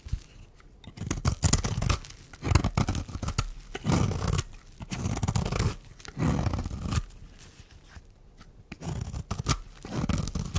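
A metal blade shaves curls off a solid, dry pink oval bar of soap held in the hand. The result is a series of rough, low scraping strokes in bursts separated by short pauses, with crisp crackling ticks throughout.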